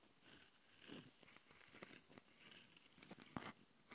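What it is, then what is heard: Handheld audio recorder with metal-mesh mic grilles, scratched. Long nails on both hands scratch the metal-mesh mic capsule grilles of a small plastic Tascam handheld audio recorder. The result is close, dry, crunchy scratching in uneven bursts, with the sharpest crackle near the end.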